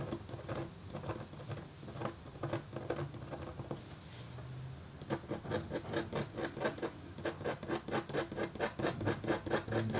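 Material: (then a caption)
Copper foil. A red-handled, metal-tipped stylus scratches a flat, black-coated copper foil scratch art sheet with quick, repeated strokes. Soft, scattered scraping in the first half gives way to a steadier run of short, crisp scratches at about two per second. Each stroke is a dry rasp that fades almost at once.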